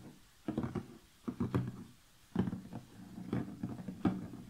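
Long fingernails tap and scratch the lid of a large, closed cardboard jigsaw puzzle box resting on a table. Soft, dull, low-pitched taps and papery scratches come in short clustered bursts, separated by brief quiet pauses. Each sound fades quickly with little ring.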